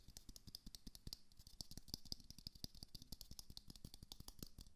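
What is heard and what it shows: A small glowing moon lamp, a hollow plastic sphere, is held in one hand and tapped quickly with the fingertips and nails of the other hand. The result is a rapid, steady stream of short, dry clicks and taps, each with a dull low thump and a bright crisp top, and no ring after each hit.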